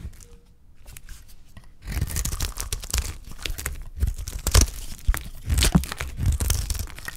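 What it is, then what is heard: Dry soap bar scraped with a blade. A utility knife blade scrapes strips off the face of a solid bar of dry soap held in the fingers. After a quiet start, dense, crisp tearing and crunching scrapes come in uneven bursts, with a dull low body under bright, dry edges and no ring.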